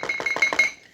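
Four quick knocks on paper, imitating a knock on a door, making a light, dry thunk with a faint ringing tone around 2 kHz. Each knock dies away almost at once.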